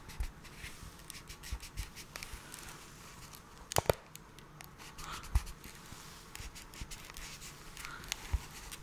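A small, hollow, printed cardboard box labelled "USB Camera Adapter" is held in gloved hands close to the microphone and scratched and tapped with the fingertips. Soft, dry scratching and rustling runs throughout, broken by short, hollow taps, with the sharpest pair of clicks near the middle. The sound stays quiet and close, with a low body and bright, crisp edges on the scratches.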